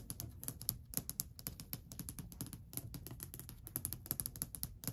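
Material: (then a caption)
Wood. Long white almond-shaped nails tap and scratch across a long, flat, solid varnished wooden ledge or stair top. The result is a rapid, irregular run of crisp, bright clicks with a soft, low wooden thump underneath. Each tap dies away almost instantly.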